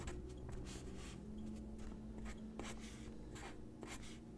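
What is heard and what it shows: A graphite pencil sketches on a single white sheet of drawing paper resting on a wooden desk, making quick, irregular scratching strokes. Soft, bright rasps repeat over a steady low hum.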